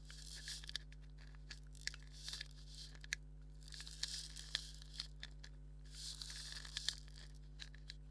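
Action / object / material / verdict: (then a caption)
scrape / leather maraca / leather / none. Fingernails scratch a hollow black leather maraca held in the hand, making quiet, dry, bright rasping bursts in waves, with sharp little clicks scattered throughout. A steady low hum sits underneath the whole time.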